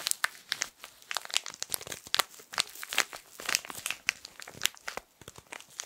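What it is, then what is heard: Plastic-wrapped tissue packet being crinkled. A small rectangular pocket tissue pack in colorful printed soft plastic film, full of tissues, is held in both hands and squeezed and crinkled with the fingertips. A dense, continuous run of bright, crisp crinkles and sharp crackles follows, each snapping off instantly with almost no low end.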